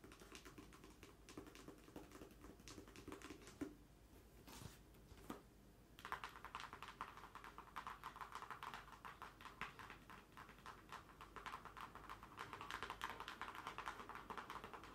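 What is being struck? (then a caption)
Cardboard mailer box. A medium-sized, hollow, closed pink cardboard shipping box is held upright while long nails rapidly tap and scratch across its face. The result is a dense, steady stream of quiet, crisp clicks and scratches. Around the fourth to sixth second the sound briefly thins out to a few isolated taps before the busy tapping resumes.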